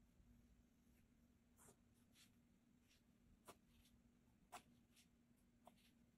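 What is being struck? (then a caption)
Graphite pencil on paper sketchbook page. A blue mechanical graphite pencil held in the fingers scratches across a flat cream paper sketchbook page that already holds a pencil sketch. The drawing makes soft, dry scratching strokes with three sharper ticks standing out, over a quiet low steady hum.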